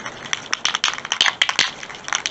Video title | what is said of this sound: My boosterbuild | shake it good until you hear the ball rattled inside